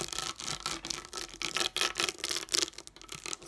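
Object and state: Sheet of plastic dome dot stickers.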